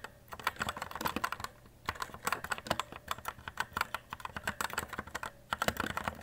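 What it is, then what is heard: Plastic mechanical keyboard. Fast fingertip typing on a white E-Element Z-88 RGB mechanical keyboard with plastic keycaps gives dense, rapid runs of sharp, clacky key presses. The bright clicks die away almost at once, with brief pauses between the bursts.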